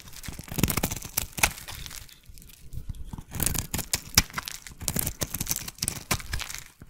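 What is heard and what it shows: A metal blade shaves thin curls off the surface of a solid, palm-sized pink oval bar of soap held in one hand. Crisp, crunchy scraping cuts come in quick, uneven strokes, with a brief quieter pause partway through. The strokes carry a dry, bright crackle over a soft low thud.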